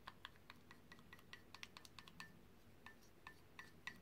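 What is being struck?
Ceramic mug tapped by a paintbrush.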